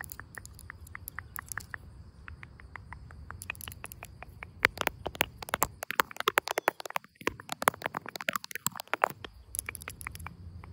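Long pink acrylic nails tap and scratch the rough, lichen-covered bark of a large, solid, living tree trunk. Dozens of sharp, dry clicks come in quick runs, some louder than others, with brief scraping strokes between them. A faint, steady high tone runs underneath throughout.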